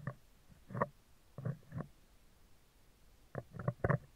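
Metal tweezer tips scratch the right side of a round, hollow steel wire-mesh microphone grille in nine short bursts. The scrapes sound low, muffled and rumbling, with almost no high end and no ringing, separated by near silence.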